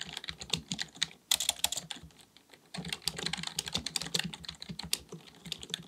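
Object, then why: Plastic computer keyboard. Both hands type continuously with their fingertips on a black full-size plastic keyboard, likely mechanical with a hollow body, resting on a desk. Rapid, bright key taps click and clack in quick bursts, each dying away almost instantly. Two brief pauses break the typing, near 1 second and again around 2 to 2.7 seconds.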